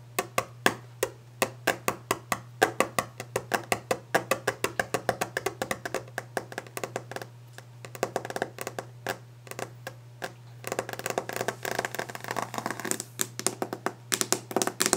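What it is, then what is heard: Wooden desk top. Long orange-painted fingernails tap fast on a large, solid, varnished wooden desk top, making a quick run of dry, sharp clicks that stop almost instantly, with a woody tone around 380 Hz. Midway the taps thin out and soften, then return as a denser, brighter, scratchier patter over a steady low hum.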